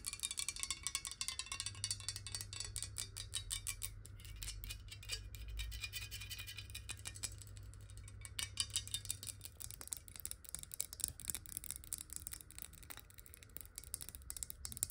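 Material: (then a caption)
Glass. Long nails tap rapidly and irregularly on the sides and embossed base of a clear glass water bottle with a black cap, partly filled with water. The result is a dense stream of bright, short glassy clicks and ticks that die away almost instantly, with a steady low hum underneath.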